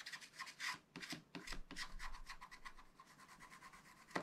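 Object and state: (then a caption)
Scratch art paper being scratched. A pointed wooden stylus scratches the black coating near the bottom of a scratch art page in a small spiral pad, held flat by one hand. A quick series of dry, bright, rasping strokes sounds, some longer and some short and clipped, ending with a sharper, louder scrape.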